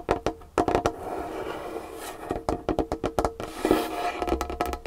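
Long painted fingernails tap fast on a large, solid wooden tabletop with a varnished finish. The result is quick bursts of sharp, dry clicks with a short ring, separated by brief pauses and a faint hollow tone underneath.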